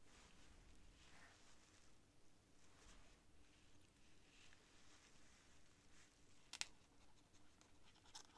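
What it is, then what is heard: Paper written on with a feather quill. The white feather quill's tip scratches continuous writing strokes across a thin cream paper sheet lying flat on a desk. Soft, bright scratching swells and fades over a low, steady hum. A sharp tick sounds near the end.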